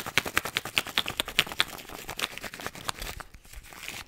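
A pink-and-green plastic effervescent-tablet tube with a white cap, hollow and apparently holding tablets, is held in both hands and handled, shaken and tapped with the fingertips. It gives a quick, uneven run of bright, dry plastic clicks and taps that are sharpest in the first second and a half. The taps then soften into lighter rattling and rustling that fade out by the end.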